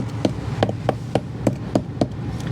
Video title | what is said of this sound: Demo on Inner Bulwark - Emerald Isle: Ep.40 Fishing Boat Refit | if you tap that you can actually hear it's a little bit hollow sounding